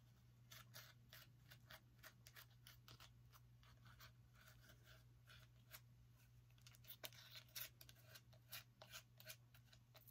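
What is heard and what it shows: Long nails scratch the surface of a small orange pumpkin, making quiet, dry, bright scraping strokes in rapid, uneven bursts. A steady low hum sits underneath throughout.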